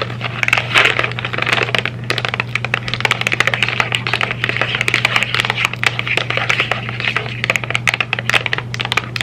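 A small, rectangular printed cardboard M&M's candy box, apparently closed and probably with candy inside, is held in both hands and tapped with long red nails. The result is a quick, continuous run of dry, bright clicks and crackles, with brief cardboard rustling over a steady low hum.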